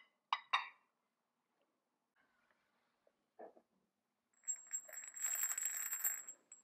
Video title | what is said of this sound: Multi-Sub) 맛있는 참외 샐러드, 토스트와 커피가 있는 일상! | Un verre à boire qui fait du bruit parce qu'il y a une perle quelque part dans le verre.